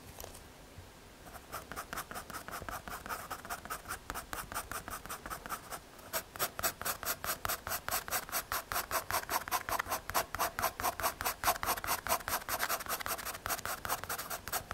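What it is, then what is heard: Pencil scratching on MDF board. A graphite pencil scratches and shades in quick back-and-forth strokes across a small, flat, solid brown MDF/hardboard panel. The dry, rasping strokes are bright and papery, with a midrange scratch. They start soft and loosely spaced, then grow louder and more even in a steady rhythm from about six seconds on.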